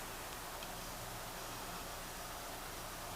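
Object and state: Nothing is struck.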